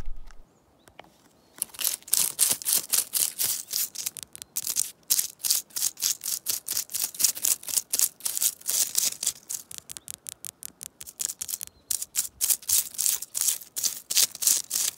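Long nails scratch and tap the white, papery bark of a birch tree trunk and a curled, peeling strip of loose bark. After a near-silent first second and a half, quick, irregular bursts of bright, dry, hissy scratching follow one another rapidly. There is almost no low end, and each burst stops dead without ringing.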